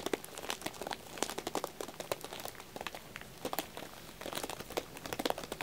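Fingertips and nails tap and scratch the shrink-wrapped plastic over a pack of green wax tealights in aluminum cups with a paper label. Dense, quick crinkling and crackling clicks come in bright bursts, with quieter scratchy rustling between them.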